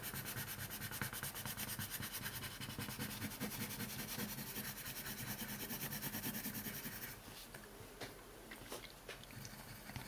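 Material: Paper.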